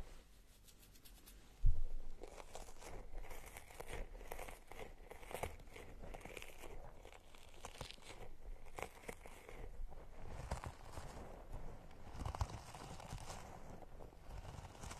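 A small, squishy turquoise rubber puffer toy covered in spikes is held in both hands away from the microphone and squeezed and scratched with long manicured nails. Soft, crinkly scratching and rubbery rustling run throughout, with a brief louder bump near the start. The result is quiet, low, close textured scratching.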